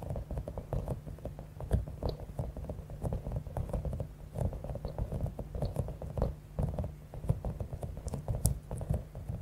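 A palm-sized clear soft rubber stress ball with a spiky top, filled with small blue and pink beads, is tapped and scratched with long acrylic nails. A steady stream of quick, soft taps and scratchy crinkling patters along, with a heavy low thud to each touch and faint bright clicks. The contacts are short and dry, with almost no ring after each one.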